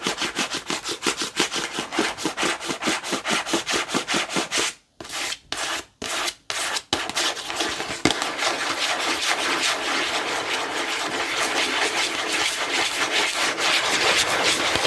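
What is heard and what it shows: Long nails scratch a small, hollow cube-shaped cardboard tissue box with green print, making bright, dry rasping strokes in a quick rhythm. After a few short scrapes separated by brief silences, the scratching turns into a steady, dense rasp to the end.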